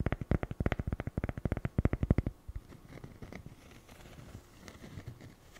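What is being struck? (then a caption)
Small cork coaster tapped and scratched with fingernails. A small, flat, solid square cork coaster is held in one hand and tapped and scratched with long fingernails. About 26 quick, dull, low taps come in a rapid run over the first two seconds, each dying almost instantly. They give way to a quieter, soft scratching texture for the rest of the clip.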